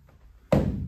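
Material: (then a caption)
Wood. A wooden sake barrel, being considered for conversion into a taiko drum, is tapped once, giving a low, hollow thunk that rings briefly. The lower half of the barrel is hollow inside.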